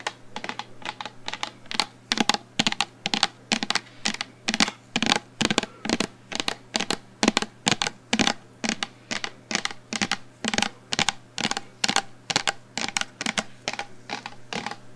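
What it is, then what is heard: Plastic shampoo bottle tapped with fingernails. Long blue-painted nails tap the sides of a medium, hollow black plastic shampoo bottle with a screw cap, held in both hands. The fill level is not visible. A fast, irregular run of crisp, bright clicking taps dies away almost instantly, over a faint steady low hum.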